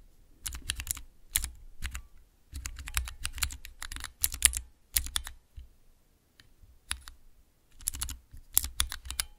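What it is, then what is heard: Clear plastic keycap mechanical keypad. A small mechanical keypad with three tall, translucent clear plastic keycaps on Cherry MX switches is pressed and tapped with long nails and fingertips. Bursts of sharp, bright clacks with a deep thocky low end come in quick flurries separated by short pauses, each click dying away almost instantly.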